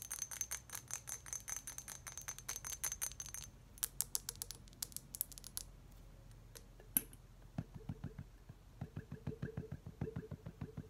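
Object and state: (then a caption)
Empty glass milk bottle. A small, clear, embossed glass milk bottle, hollow and empty, is held in the hands and tapped with long acrylic nails. Quick runs of bright, ringing clicks come in bursts, then lower, softer taps in steady rhythm. The result is a light, chiming glass sound with very short ring.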